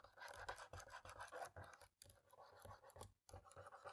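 A cotton swab scratches between the top-row keys of a black plastic laptop keyboard. Busy, scratchy rasping with quick rubbing strokes centers in the midrange around 1 kHz and carries a bright, dry edge. It is broken by two short silent gaps, near 2 seconds and just after 3 seconds.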